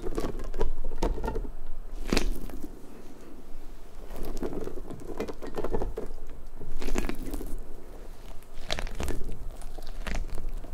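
Long nails pull at the strands of a large, hollow pink rubber puffer ball, then fingertips squeeze and rub its spiky surface. The result is a close, soft crackling patter of rubbery squishes and light scratches, with brief bright flicks over a dull low rumble.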